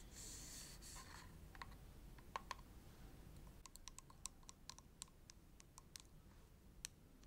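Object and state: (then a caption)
Plastic cosmetic tube. Long acrylic nails tap and click on a filled, hand-sized red soft plastic Bioderma cream tube. A brief bright rustling scrape opens the clip, followed by a quick, irregular run of sharp, dry clicks that die away instantly over a low, steady background hum.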